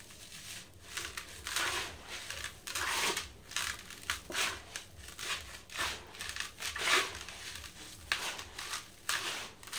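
Hands crumble chunks of a cylindrical dry sand-cement block into a blue bucket and let the loose powder fall through their fingers. The sound is bright, dry crunching and gritty crackling in uneven bursts, with soft sifting hiss between them.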